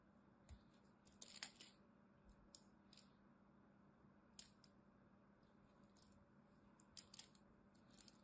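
A small blade scrapes and cuts chips off a solid green bar of soap with a crosshatched surface, held in the hand. Quiet, crisp, bright crackling scrapes come in short irregular bursts over a faint, steady low hum.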